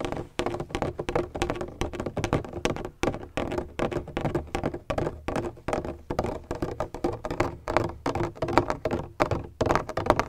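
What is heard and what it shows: Fingertips tap and knock rapidly and irregularly on a large black, donut-shaped hollow plastic bottle with a textured surface and a red cap. Each hit is a short, dull, hollow thunk with a low-mid tone that dies away almost instantly.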